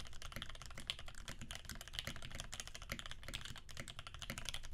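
Both hands' fingertips type rapidly on a Percent Canoe 65% mechanical keyboard with a clear acrylic case, aluminum plate, cream PBT keycaps and filmed Alpaca switches lubed with 3204. A steady, dense stream of short, crisp key strikes carries a deep, muted thock underneath and bright clacky tops around 3 kHz. Each keystroke dies away almost instantly.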